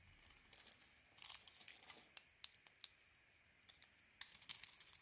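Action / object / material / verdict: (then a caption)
scrape / bar of soap scraped with a metal blade / soap / none. A metal craft blade shaves and scrapes flakes off a hand-sized, solid dark-blue coated bar soap with a white core, held in the palm. Quiet, bright, crisp scraping and crinkly shaving bursts come in short clusters, with almost no low end and no ring after each stroke.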